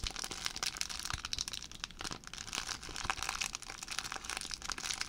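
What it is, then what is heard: Empty plastic zip bag being crinkled. An empty clear plastic zip bag is crinkled and twisted with fingers, making a steady stream of dense, bright crinkles and sharp crackles. The sound stays mostly high and papery, with little low end and no lingering ring after each crackle.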